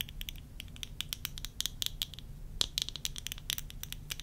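Long nails tap and scratch quickly on worn plastic tortoiseshell eyeglass frames with lenses. The result is a fast run of sharp, bright clicks, each dying almost instantly, over faint scratching and a low, steady rumble.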